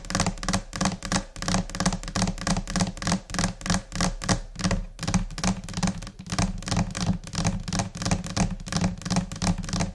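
Long painted nails and fingertips tap in scattered, irregular rhythms on a flat, solid white laminate desk. Rapid, uneven taps mix dull, low thunks with bright clicky nail strikes, each dying away quickly, continuing steadily throughout.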